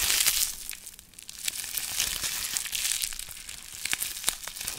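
A small wad of clear plastic bubble wrap with a bit of yellow tape on it is held close and squeezed, crumpled and popped by fingertips. The result is a continuous bright, dense crinkling with sharp, irregular pops scattered throughout and almost no low end.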